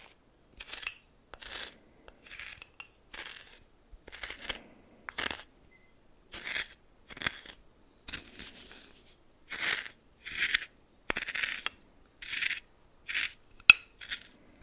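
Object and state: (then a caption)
Coarse salt stirred in a small bowl. A red plastic spoon stirs coarse salt in a small bowl, making a series of short, crisp, gritty crunching bursts separated by brief silences. The sound is bright and dry, with almost no low end and no lingering ring after each stroke.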